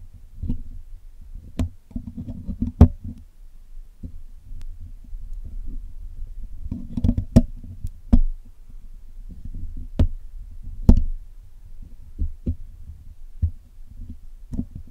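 A steel hook pick and steel tweezers tips pick and tap at the mesh wires of the black hollow metal mesh grille of a Blue Yeti microphone while it is being cleaned. Dense low, muffled scraping and rubbing fill the clip, broken by sharp, very short ticks that flash up bright with almost no ring.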